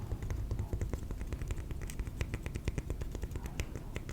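A piece of cork is tapped in a quick, steady stream of soft, dull taps that stop almost instantly, each with a faint bright click on top. A low, muffled rumble runs underneath throughout.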